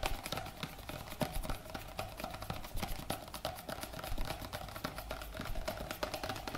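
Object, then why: Plastic cosmetic cream tube. A white plastic cosmetic cream tube with a black cap, held upright, is tapped and scratched with fingertips along its body. Quick, irregular, dry taps mix with a bright scratchy rustle that stops short with no ring.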